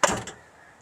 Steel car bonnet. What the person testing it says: आपको आवाज से पता लगता है कितना हैवी ड्यूटी है